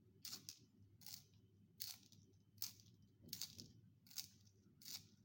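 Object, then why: Wooden pencil in a plastic sharpener with a metal blade. A solid wooden pencil is turned by the fingers inside a yellow plastic sharpener with a metal blade, forming a long chain of wood shavings with graphite dust on a white surface. Short, bright, crisp scraping bursts repeat at a loose rhythm over a faint low rumble. Each scrape stops abruptly with almost no ring.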